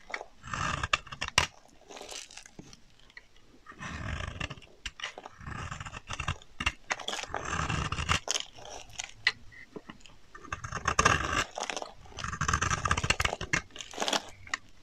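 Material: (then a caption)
Soap. A solid pink bar of dry soap, held in the hand, is scraped along its edge with a box-cutter blade, and flaky shavings pile up below. Repeated strokes make dry, crunchy, rasping bursts with bright, hissy texture and a low thud, separated by short quiet pauses.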